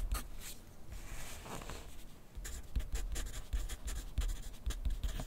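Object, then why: Graphite pencil on paper clipped to a clipboard. A wooden graphite pencil writes continuously on a sheet of lined paper clipped to a flat clipboard on a wooden desk. The pencil tip makes soft, dry scratching strokes with bright, hissy bursts and faint low taps as it moves across the paper, in quiet, steady rhythm.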